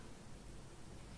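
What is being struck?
Nothing is struck.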